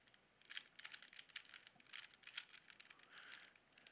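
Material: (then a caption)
Plastic. A small hollow plastic Rubik's cube with colored stickers is held in both hands while fingertips twist its layers. The result is a quiet, rapid run of bright plastic clicks and rubbing, with no low end.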